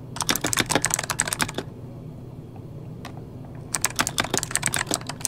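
Fingertips of both hands type on an RGB-backlit mechanical keyboard with plastic keycaps, producing rapid, bright, sharp clicks that die away almost instantly. A burst of typing runs for about a second and a half, followed by a quiet pause broken by a single keystroke, before fast typing resumes to the end.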